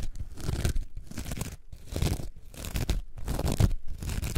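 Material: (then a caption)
Foam. A coarse orange foam sponge, held in both hands, is scratched and squeezed with long nails. This produces repeated bursts of rough, crunchy, tearing scratches with a deep, muffled low-end body, separated by brief pauses.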